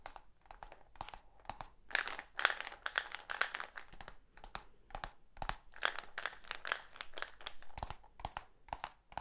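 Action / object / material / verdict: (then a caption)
tap / plastic supplement tub / plastic / none. A medium black plastic supplement tub with a screw lid and a label, hollow with its contents not visible, is held in one hand and tapped and scratched with the fingertips and nails of the other. The result is a quick, irregular run of short, dry plastic taps mixed with bright, crinkly scratching, each tap dying away almost at once.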